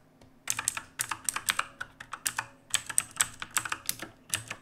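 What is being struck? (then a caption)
Mechanical keyboard with plastic keycaps. Both hands type steadily with the fingertips on a black mechanical keyboard with plastic keycaps and a dim backlight, resting on a wooden desk. After a brief quiet start, a quick run of bright, crisp, dry clacks follows in uneven bursts, each stopping almost instantly, with very little low end.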